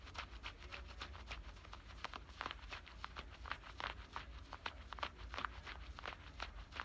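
Fingernails scratch along the front pocket opening and stitching of worn black denim high-waist shorts. The result is a quiet, rapid series of short, dry scratching strokes with a rough, bright texture over a steady low hum.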